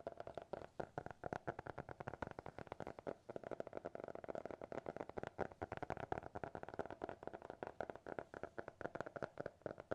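A small, closed, solid black hardcover notebook with a TikTok logo is tapped rapidly with fingertips and nails. The result is a steady stream of dozens of quick, dry, short taps with a mid-pitched hollow knock, kept soft and close throughout.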